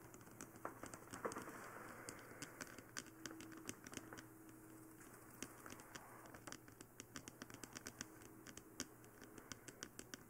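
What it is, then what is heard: Fingernails tapping a plastic dummy-head microphone. Long painted nails and fingertips tap and scratch the forehead and face of a life-size, glossy black plastic mannequin-style head: a hollow dummy head that houses a binaural microphone and is itself the recording mic. Quick, sharp, bright clicks arrive in irregular bursts over a soft scratchy rustle and a faint steady low hum.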